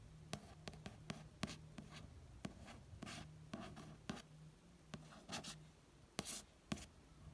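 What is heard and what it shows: A string of light fingertip taps, each a brief papery tick with almost no ring, mixed with the soft hiss of a finger tracing across the surface. It is a paperback's card cover; the stack of pages beneath deadens every tap.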